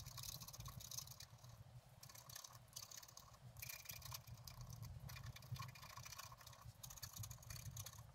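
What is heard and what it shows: A wooden stylus scratches the black coating off an A5-size scratch-art card, colored paper underneath, held flat on a table, in short strokes while revealing a bicycle on a blooming meadow. A quiet, continuous run of dry, bright scratching rises and falls with each stroke over a steady low rumble.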